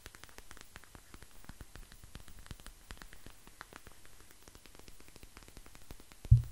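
Fingertips and nails scratch and squeeze a clear plastic eye mask filled with small gel beads and fitted with a white strap. The result is a quiet, dense stream of fine crackling clicks over a low steady hum. Near the end comes a brief, louder low thump.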